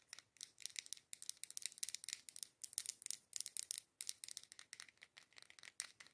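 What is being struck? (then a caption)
Glass candle jar filled with wax. Long acrylic nails tap fast on the front of a dark-green, matte glass candle jar with a label, filled with candle wax and held in both hands. The taps come as rapid, bright, clicky bursts with almost no low end and no ring, grouped into quick runs separated by brief pauses.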